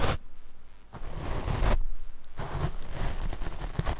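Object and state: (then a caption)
Foam microphone windscreen being brushed. A paint brush is brushed across the black foam windscreen on a Rode microphone. It makes close, rough, rumbling scratchy sweeps that are heavy in the low end, with brief quieter gaps between strokes.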